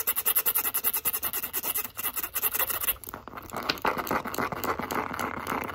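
Long acrylic nails rapidly tap and scratch the edge and face of a light-blue pebbled leather zip wallet. For the first three seconds it is a quick run of crisp, bright taps; then it turns into a denser, rougher scratching with a hissy high edge.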